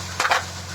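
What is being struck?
Polystyrene plastic piece.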